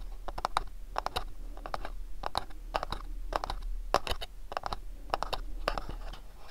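Fingernails tap and scratch the printed surface of a small, hollow, house-shaped MyLittleBox cardboard sleeve box held in both hands. Quick, dry, crisp taps come in little bursts with short scratchy rasps between them. Each tap dies away almost at once over a faint low rumble.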